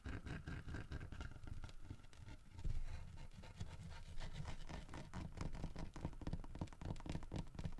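Fingertips and nails scratch and tap the fish and the head of a large, solid carved wood bear figurine holding a fish in its mouth. A rapid, steady run of dull, low, woody taps blends with soft, continuous scratching, and each tap fades quickly.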